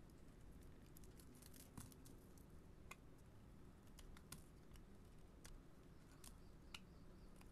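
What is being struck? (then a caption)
Soap bar scraped with a metal blade. A metal blade scrapes curled shavings off a solid yellow-beige bar of soap held in the hand. Soft, crisp scraping and crackling ticks stand out as brief bright flicks over a quiet, steady low rumble.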